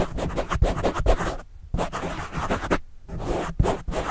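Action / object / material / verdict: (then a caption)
scrape / foam microphone windscreen / foam / none. A pen scratches the black foam windscreen on a microphone, then a fingertip scratches it, giving close, muffled, low-heavy scraping bursts. Brief silent pauses fall near the middle and later in the clip.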